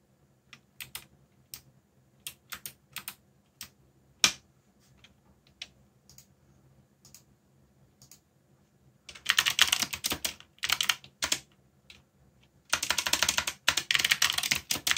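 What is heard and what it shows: Fingertips type on a backlit mechanical keyboard with plastic keycaps, producing bright, clicky key presses. For the first nine seconds the presses are sparse and spaced apart, then they give way to dense, rapid bursts of typing.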